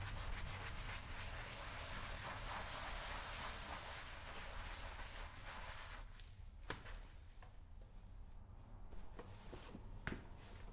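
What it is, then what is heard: Leather work boot being brushed. A round wooden-handled bristle brush scrubs back and forth over a brown leather lace-up work boot that is worn on a foot and covered in white cleaning foam. A dense, steady rubbing hiss with a low rumble runs for about six seconds, then the scrubbing becomes softer and more broken, with a few sharp knocks over the last few seconds.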